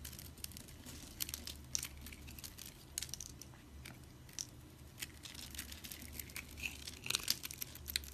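A blade cuts and scrapes the scored surface of a solid, dry pink soap bar held in the hand, crunching off pieces. Dense, bright, dry crackles and scraping crunches come in quick irregular bursts over a faint low hum, each snap dying away almost at once.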